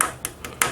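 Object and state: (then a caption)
Brushed metal receiver casing. Light taps on the brushed metal casing of a 2005 Pioneer VSX-915 stereo receiver. Four short, bright taps with a tone near 1.3 kHz decay quickly, confirming the part is solid metal rather than plastic.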